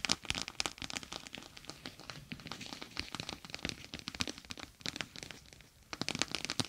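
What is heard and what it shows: A gel bead eye mask, a clear plastic pouch filled with gel beads, is laid over the microphone and scratched and pressed with long acrylic nails. It makes a dense run of crisp, bright clicks and crinkly crackles with a short quieter lull just before the end.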